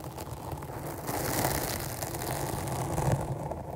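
Long nails scratch from both sides over a medium-sized, rounded black foam windscreen covering a microphone. The result is a dense, continuous rustling scrape with a heavy low rumble and a brighter hiss that swells after the first second and stays steady to the end.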